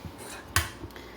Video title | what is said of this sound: Loofah- grow, harvest, peel, clean, and dry. | it sounds crunchy. You shake it and all the seeds are already loose